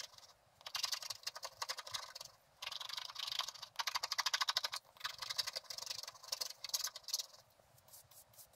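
A wooden stylus stick scratches away the remaining black coating on a flat scratch-art card, revealing the gold layer beneath. Quick bursts of dry, bright scratching come in rapid strokes, broken by short pauses, with no low-end body.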